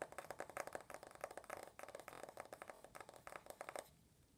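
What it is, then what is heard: Smartphone glass and aluminum, tapped and scratched with nails. Long nails rapidly tap and scratch the glass screen of an uncased rose-gold iPhone, then its aluminum back. The result is a quick run of about twenty dry, bright clicks with scratchy texture between them, each dying almost instantly. The tapping stops just before the end, leaving near silence.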